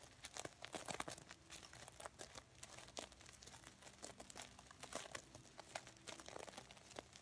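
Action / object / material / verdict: scrape / sequin-covered stuffed pillow / plastic sequins / none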